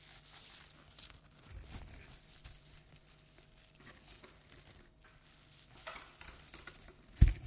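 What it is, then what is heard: Tinsel pipe-cleaner toy spider. A hand-sized decorative toy spider with a black pom-pom body and black and pink tinsel pipe-cleaner legs is held in the hands and scratched and rubbed with long nails. It makes a soft, steady crinkling and rustling, with a sharper, louder bump right at the end.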